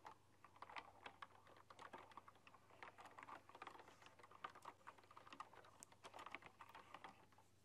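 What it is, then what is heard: Typewriter-style keyboard being typed on. Fast typing with fingertips and long dark-polished nails on a full-size typewriter-style computer keyboard with hollow, round chrome-rimmed keycaps. A quick, irregular stream of light, hollow clicks and taps, each dying away almost instantly, over a faint steady low hum.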